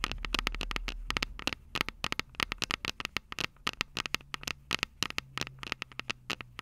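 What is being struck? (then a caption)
Handheld audio recorder with metal microphone capsules. Long purple nails tap and scratch around the silver metal mic capsules of a Tascam DR-05 handheld audio recorder. The result is a rapid, irregular run of about forty sharp, bright clicks with almost no ring, over a faint low hum that fades after the first second.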